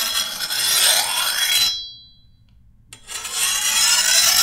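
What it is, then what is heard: Steel machete blade being filed. A hand-held steel file is drawn along the edge of a long, thin, solid steel machete blade, producing a bright, hissing rasp with a faint metallic ring. The filing runs for about a second and a half, stops for about a second of near silence, then resumes.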